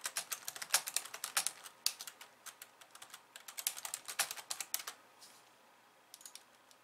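Both hands, using long glossy nails and fingertips, type fast on a pink plastic slim computer keyboard with white keys resting on a wooden desk. Around 37 sharp, bright clicks and taps sound in quick bursts, each dying away almost instantly, with no low-end weight. The typing thins out and pauses near the end before a few last taps.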